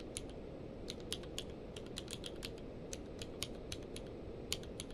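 A full-size mechanical keyboard with a blue-grey case and white and grey plastic keycaps, lying on a blanket, is typed on rapidly with the fingertips of both hands. Quick, bright, sharp key clicks fall in irregular bursts over a steady low rumble, and each click dies away fast.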